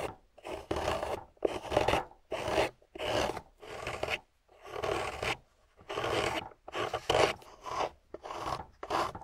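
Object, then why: Wet grey clay block. A metal loop carving tool scrapes a thin, solid piece of wet, water-soaked grey clay block in about a dozen separate strokes. Each pass gives a soft, gritty, raspy scrape with a bright crumbly edge, separated by brief silences.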